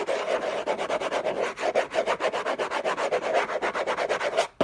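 Fingertips and short nails scratch and rub rapidly across the textured paper surface of a large, flat, hollow orange Hermès cardboard gift box lid. The result is a steady run of quick, raspy strokes with a hollow mid-range tone around 550 Hz and a bright, papery hiss. The strokes stop just before a brief sharp tap at the very end.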